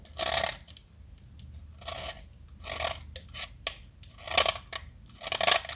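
A small solid light blue chalk stick, held in the fingers, is carved and cut with a metal utility knife blade. Short, bright, rasping scrapes come in separate bursts with quiet pauses between them, and they stop dry with almost no ring.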